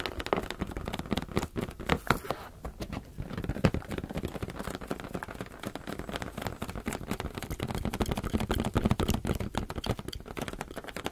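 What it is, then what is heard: Rubber balloon tapping. Fingers tap rapidly and continuously on a rubber balloon, producing a dense, uneven stream of dull, muffled thumps with little ring. The sound sits mostly in the low range, with very little bright content.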